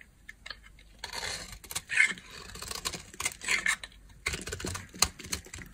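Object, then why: Bar of soap scraped with a knife blade. A solid light blue bar of dry soap, held in the hand, is scraped and carved with a utility knife blade. Dry, crisp scraping and crackling bursts come in irregular strokes, with sharp bright clicks and short pauses between passes, and almost no low end.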